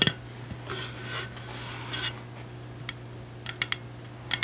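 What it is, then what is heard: Stainless steel insulated water bottle, hollow. Long acrylic nails tap the side of a large, hollow, pink powder-coated stainless steel insulated water bottle with a black plastic cap and a sticker. Sharp, bright clicks with almost no ring are spread through the clip, bunching up toward the end, with soft scratchy swishes in between. A steady low hum runs underneath.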